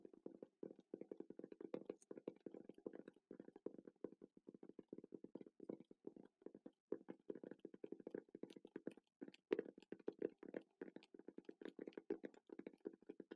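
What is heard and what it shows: Rapid, gentle fingertip tapping on a Rode wireless microphone case produces a long run of soft, short, dry knocks. The taps are centered in the low mids with almost no ring and a slightly less hollow tone than a pencil case. The pace stays steady and quiet throughout, with only brief pauses.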